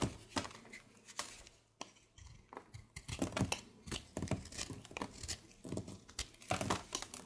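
A solid light-blue bar of soap, held in the palm, is carved with a red patterned blade, with the shavings piling up beside it. Quiet, dry scraping and shaving strokes come in a rapid, uneven series of short, crisp bursts with a bright, crinkly edge and little ring after each cut.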